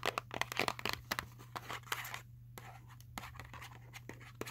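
Long acrylic nails tap and scratch the printed surface of a small Sour Patch Kids cardboard box that appears full of candy. Quick, irregular dry clicks mix with bright, papery scratching strokes, broken by a brief quieter pause. A faint steady low hum runs underneath.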